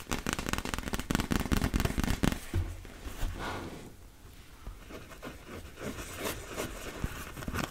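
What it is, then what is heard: Inflatable vinyl beach ball. A large, fully inflated, hollow blue-and-yellow PVC beach ball is held close to the mic while long red nails tap and scratch its plastic surface. Dense, fast clicks and scraping rustles with a boomy low body fill the first two seconds. They are followed by softer, sparser scratches and taps.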